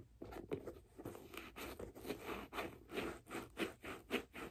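Long nails scratch and tap along the leather side and laces of a single hollow white leather figure skate boot with a blue blade guard, held in the hands. The result is a quiet, irregular series of dry, raspy scrapes and soft taps, each fading quickly.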